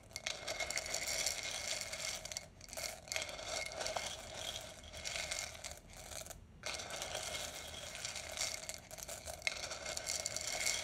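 A wooden spoon digs and stirs through roasted coffee beans in a large clear glass jar that is partly full. The beans rattle and scrape against the glass in a dense, bright, continuous crunching clatter, with a few brief pauses between strokes.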